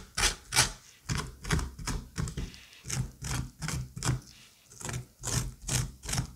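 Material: Pumpkin flesh.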